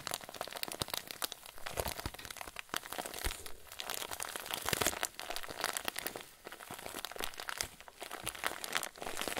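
A clear plastic zip bag full of white fluffy filling is pressed and squeezed with fingers and thumbs. It gives a steady stream of soft, bright crinkling with many quick crackles and crunches layered on top. The texture swells and dips in loudness over about nine seconds without stopping.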